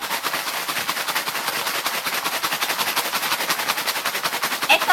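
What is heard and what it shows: A cardboard box of Collon biscuit snacks, bought specifically for shaking, is shaken to see whether the snacks form round lumps. The contents rattle loudly and rapidly inside the box in a dense, bright, clattering stream with almost no low end.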